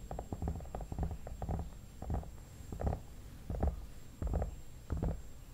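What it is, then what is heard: Hollow vinyl mannequin head. Fingertips and nails tap the forehead and cheeks of a hollow vinyl mannequin head. The result is a series of soft, deep, hollow thumps in loose, uneven clusters, each with a brief fuzzy upper edge and almost no ring.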